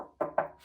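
Two knocks on the lower section of a metal well-water pressure tank give short, dull thuds centered around 630 Hz that die away quickly with little ring. The full, damped sound shows the bottom portion of the tank, below the internal bladder, is filled with water, which is normal.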